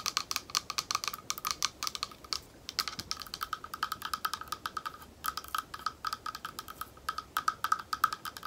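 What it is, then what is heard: Glass bowl. Long nails on one hand tap rapidly on the side of a small, thick, clear glass bowl that is hollow and empty. The taps are dozens of quick, bright clicks, each with a short glassy ring near 1.3 kHz that dies almost at once. The tapping comes in uneven bursts, with brief pauses around 2.5 and 5 seconds.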